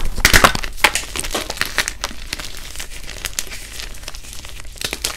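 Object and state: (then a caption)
Brittle reformed chalk block being crushed. Both hands squeeze and crumble solid, brittle pieces of blue-dyed, reformed gym chalk in a bucket, breaking them into small crispy chunks and dust. Loud, sharp, bright cracks burst out at the start, then give way to a steady, dense crackle of crunching and crinkling that stays crisp and glassy to the end.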